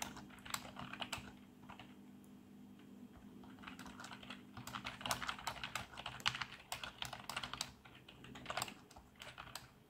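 Fingertips of both hands type rapidly on the keys of a black plastic backlit membrane computer keyboard. Quick, bright plastic clicks and taps come in uneven bursts, with pauses between them. A faint, steady low hum sits underneath.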